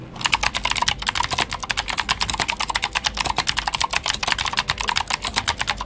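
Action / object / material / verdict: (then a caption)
tap / plastic mechanical keyboard / plastic / none. Fingertips of both hands type steadily on a full-size white Glorious GMMK White Ice mechanical keyboard with plastic keycaps and clicky Gateron Blue switches. A fast, continuous stream of sharp, bright clicks with very short decay and almost no low end is heard.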